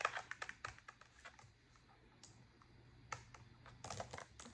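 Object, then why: Plastic laptop keyboard keys tapped with fingernails. A black plastic laptop keyboard is typed on with long acrylic nails, with one hand briefly resting near the touchpad. Sharp, bright key clicks and nail taps come in quick bursts with short pauses between them, over a faint steady low hum.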